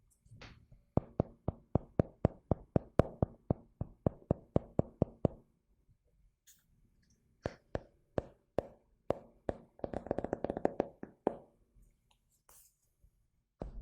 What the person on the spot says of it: le carnet qui a un doux son